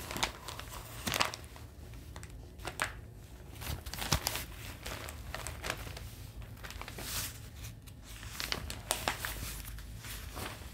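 A large, thin and flexible folded newsprint copy of The Globe and Mail is held in both hands and crinkled and shifted with the fingers as its pages are handled. A steady, soft rustle runs throughout, broken by sharper, bright crinkles and crackles with a low rumble underneath.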